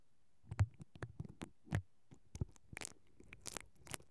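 A single mascara brush with black plastic bristles, held by fingers with long dark nails, is rubbed and scratched along the capsule of a hollow perforated metal mesh microphone grille. Irregular, short brushing strokes produce soft, low, muffled thumps mixed with bright, crackly scratches, each dying away almost at once into quiet.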